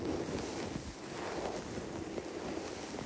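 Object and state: Nothing is struck.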